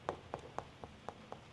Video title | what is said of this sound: Milton VS Lakewood Ranch and Sarasota | that sounds solid that's because that's right above that uh spot where they have filled this